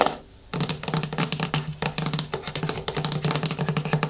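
Long nails scratch and tap the ribbed plastic side and lid rim of a medium yellow plastic hair-mask jar held in both hands. After a quiet half second, a dense run of rapid, bright clicking scratches follows, with a faint steady low hum underneath.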